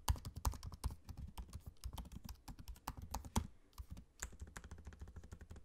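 Both hands type with their fingertips on a MacBook-style laptop keyboard, tapping its low-profile plastic keycaps set in a space-grey aluminium body. A rapid, uneven run of short, dull taps is heard, each dying away almost instantly with a soft low thump and a faint clicky edge. There is a brief lull just before the typing picks up again.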